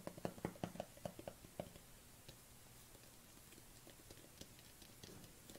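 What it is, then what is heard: Plastic tub tapped with nails. Long fingernails tap and scratch on a black plastic collagen supplement tub held cupped in both hands. A quick run of short, hollow clicks comes first, then fades into quieter scratching with a few scattered taps. The sound is quiet and dry, with no ring after each tap.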